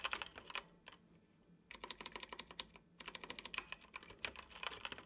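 Fingertips of both hands tap the keys of a dark plastic computer keyboard while typing, making quick, bright clicks in bursts with a short pause near the start. Each keystroke is sharp with almost no ring, and the sound sits mostly in the high range.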